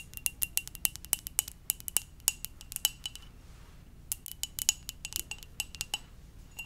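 Long dark nails tap the glazed surface of a hollow, red and white ceramic mug shaped like a Poke Ball, held in one hand. A quick run of bright, high clicks with very short ring pauses briefly near the middle, then resumes at a softer, more scattered pace.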